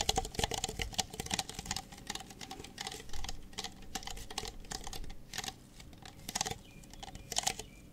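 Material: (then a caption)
Plastic. Fingertips tap rapidly on the bases of two identical empty red plastic party cups held upside down. The result is a fast, uneven patter of dry, hollow plastic clicks with a bright edge and a tone near 770 Hz. Each tap stops almost instantly with no ring.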